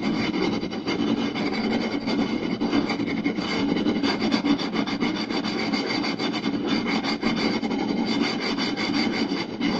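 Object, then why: Round wooden plate. Fingertips and short nails scratch quickly along the lower part of a round, solid wooden plate with visible grain. The result is a dense, continuous rasping scrape at a steady level, with a warm low-mid body and bright, gritty texture throughout.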